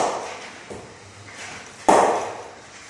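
An SG Players Extreme willow cricket bat is knocked in by striking a hanging ball with its face. A single sharp, woody knock with a midrange ring around 600 Hz and a bright edge fades within about a third of a second, following the fading tail of an earlier impact.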